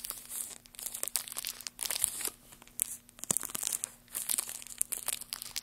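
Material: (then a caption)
Wood. A large, solid, light-colored wooden block, like basswood, is scratched and tapped with bare fingertips and nails. The result is a dense, bright run of dry crinkly scratches and small clicks, mostly high in pitch, with short pauses between bursts and no ringing.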